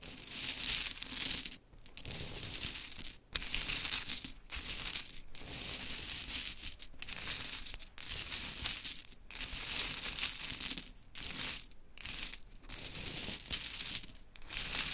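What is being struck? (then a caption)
Small wooden clothespins with metal springs. Long chrome nails scratch, rake and stir a heap of small pink painted wooden clothespins with metal springs resting on glittery fabric. The pegs clatter and rustle in dense, bright bursts of small clicks, broken by brief silent pauses.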